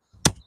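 A single strike on the packed soil of a dirt jump gives a dull, short thud, with a low body around 145 Hz and a quick, bright slap at the moment of impact that dies away within a fraction of a second. The dull, non-slapping sound shows the soil is soft, with too much compost and not enough clay and sand.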